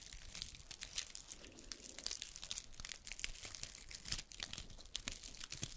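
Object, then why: Pine cone scales. A single small, dry brown pine cone with open woody scales is scratched and flicked with long red nails. The result is a dense run of quiet, crisp, bright crackling and ticking clicks that crinkle and snap with very little low end.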